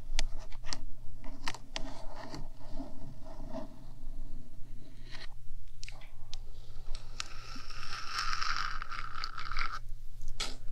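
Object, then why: Hollow metal microphone housing. Long black nails on both hands scratch and tap the top of the black, rectangular, hollow metal housing of a 3Dio binaural microphone, about 15 cm wide. Quick, sharp clicks and scratchy bursts ride over a steady low hum. Near the end comes a longer, brighter stretch of continuous scraping.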